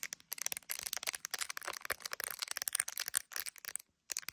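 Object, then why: Smartphone in clear plastic case. Long acrylic nails rapidly tap and scratch the back of a handheld iPhone in a clear plastic gummy bear case, near the camera lenses, while it is held up to a mirror. The result is a quiet, dense stream of bright, crisp plastic clicks and scrapes with almost no low end, pausing briefly just before the end.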